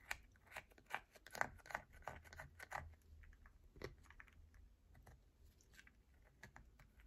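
A solid yellow bar of soap held in the palm is scratched hard with long nails, giving quick, irregular bursts of dry scratching and tapping. About 18 short strokes are heard, louder and denser in the first three seconds, then softer and sparser.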